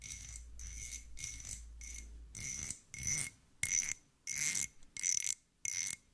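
Two small solid threaded steel screws held in fingertips are scraped and clinked against each other in a series of short, bright metallic bursts with a thin, high ringing tone. A faint low hum sits under the first couple of seconds, then the later strokes stand apart more clearly with quiet gaps between them.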